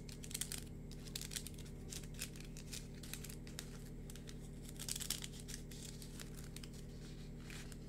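A hand-sized, hollow yellow-green plastic lattice fidget worm is held in both hands while fingertips and nails scratch and squeeze its ridged mesh. Quiet, bright crinkly scratching comes in repeated short bursts over a steady low hum.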